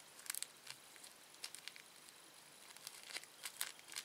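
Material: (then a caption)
Plastic. A small, thin, empty red-orange printed plastic candy wrapper is stretched, twisted and crinkled between the fingertips and nails of both hands. Quiet, bright, crisp crackles and snaps come in scattered bursts over a soft hiss, with no low end. Each crackle dies away almost instantly.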